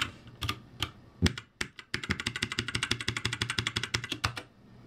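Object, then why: Mechanical keyboard, plastic keycaps. Both hands type rapidly with their fingertips on a backlit ROCCAT G65 mechanical keyboard with plastic keycaps. A few scattered, sharp, bright clicks with a low thump give way to a fast, steady run of crisp keystrokes. The typing stops abruptly near the end, leaving faint background hiss.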